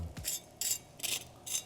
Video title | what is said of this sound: 자극 끝판왕 조합!🔥통수육에 실비김치 불닭볶음면 누룽지통닭 대왕육회초밥까지 요리 먹방! 거의 만칼로리 챌린지🌟 복킷리스트 EP.14 | nghe thấy tiếng lớp da giòn rụm